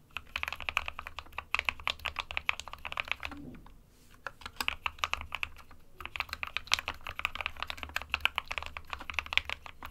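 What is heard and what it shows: Both hands type with their fingertips on an SK61 compact 60% mechanical keyboard with a plastic case, white and grey plastic keycaps, and a hollow body, resting on a desk mat. A rapid stream of short, bright clacks comes mostly from the switches, with a brief pause around the four-second mark and a shorter dip near six seconds. Typing then resumes at a steady pace.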